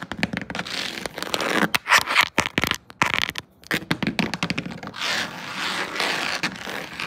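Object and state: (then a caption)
Woven rattan wicker surface. Long decorated acrylic nails with metal charms tap and scratch across a flat woven rattan wicker panel, a solid broad surface like a furniture top or seat. Rapid, dry clicks mix with bright, raspy scraping over the weave, with little low end and almost no ring. A brief pause comes near the middle, and the last couple of seconds settle into steadier continuous scratching.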